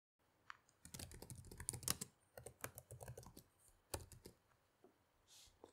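Long-nailed fingertips type on the plastic keys of a black laptop resting on a table, producing steady, quick key taps. The bright, short clicks carry soft low thuds and come in bursts with brief pauses. Near the end, a soft high swish is heard.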